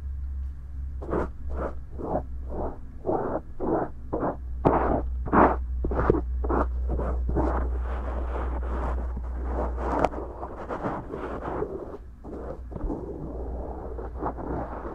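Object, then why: Silicone microphone ear rubbed by a cotton swab. A cotton swab held in the fingers rubs and scratches inside the right silicone ear of a binaural microphone, a soft, solid ear, working into its folds. Close, scratchy strokes come in a quick, uneven series, then blur into denser continuous rubbing, all over a steady low hum.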